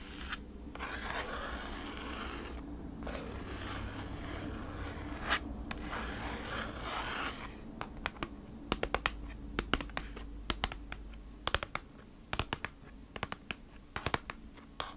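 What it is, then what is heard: Kraft cardboard packaging sleeve. Long acrylic nails scratch across the front of a flat, thin, hollow kraft cardboard sleeve for beeswax food wrap, held upright with the wrap inside, giving a steady dry rasping for the first half. The nails then switch to quick, sharp taps on the cardboard, heard as crisp clicks with almost no ring, over a faint low hum.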